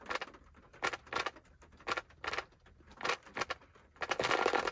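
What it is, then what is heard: Plastic mint container. A small round plastic Ice Breakers mint tub resting on a lap has its lid tapped and scratched with fingertips. Bursts of short, bright clicking taps and scratches come in quick clusters separated by quiet gaps, ending in a longer, denser run of scratching.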